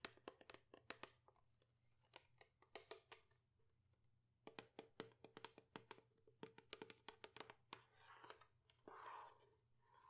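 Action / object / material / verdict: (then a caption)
tap / plastic shampoo bottle / plastic / none. Long acrylic nails tap and handle a medium-size, hollow white plastic Pantene shampoo bottle that appears to contain shampoo, held in both hands. Dozens of quick, crisp, bright clicking taps come in bursts over a faint low hum, with a brief lull near the middle. Near the end the taps give way to a softer, scratchy rustle of handling.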